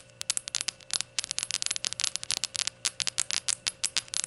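Long gold nails tap all around a small hollow glazed ceramic rainbow shot glass standing upright on a towel. The result is a rapid, irregular series of bright, crisp clicks that die away almost instantly, with no low end.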